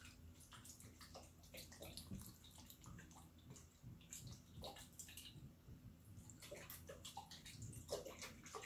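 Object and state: Glass jar partly filled with water.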